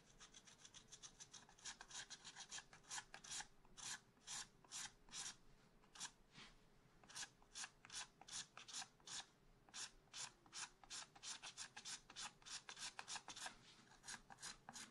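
A wooden stylus scratches repeated strokes into a leaf pattern on a black-coated scratch art card page in a spiral pad, held flat by one hand. Quick, bright, dry rasping strokes come in an uneven but steady rhythm over a faint low hum. The scratches are quiet and papery, each ending sharply with no ring.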